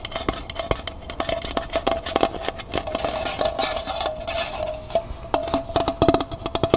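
Long nails tap rapidly on the outer wall of a small, hollow, empty copper-colored metal pail with a wire handle, held in the hand. The result is a fast, irregular stream of sharp, bright clicks, each with a short metallic ping and a faint ring that lingers underneath.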